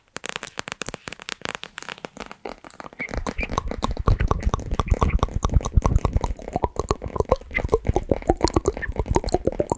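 Long nails squeeze and tap a small squishy plastic orbeez pouch filled with gel beads, yellow glitter and cartoon eyes, held in both hands close to the microphone. Rapid sticky crackles start out light and spaced, then after about three seconds become dense and continuous with heavier low, muffled squishing beneath them. Each crackle is short and dry with almost no ring.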